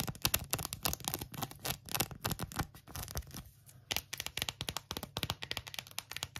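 Long acrylic nails rapidly tap and scratch an empty pink phone case with a tweed fabric back and a silicone rim. The result is a stream of fast, dry, crisp clicks mixed with scratchy rustling. The sound eases into softer scratching for a moment near the middle before the quick tapping picks back up.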